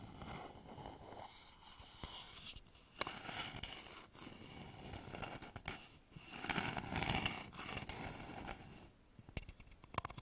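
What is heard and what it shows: Fingertips and nails scratch and tap the outer surface of a polished, hollow wooden bowl held upside down over stereo microphones. Soft, irregular scratching and brushing fill the clip with a bright, papery hiss. Short, dry taps die away almost instantly, with a louder burst of scratching in the middle and a quick flurry of taps near the end.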